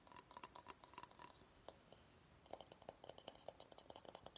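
Fingernails scratch and tap the curved underside of a medium, empty bamboo bowl, producing quick, dry, quiet clicks with very short ring. The first half has a lighter, higher tick pattern with a brief pause, followed by a denser run of hollow, mid-pitched taps mixed with bright scratchy edges.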